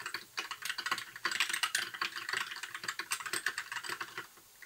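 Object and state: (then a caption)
Plastic mechanical keyboard. Fingertips of both hands type continuously on a compact white mechanical keyboard with backlit plastic keycaps. A rapid, steady stream of short, bright plastic clacks rings out with almost no low end, each keystroke dying away almost instantly. The typing briefly eases around the one-second mark and tapers off in the final half second.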